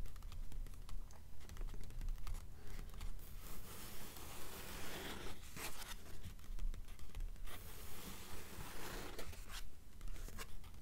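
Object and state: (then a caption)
Paperback book pages scratched and tapped. Long nails rapidly scratch and tap on the paper pages of an open blue paperback novel, making dry, bright rustling scrapes and quick papery taps. The sound is close and continuous, with short bursts of scratching over a steady low rumble.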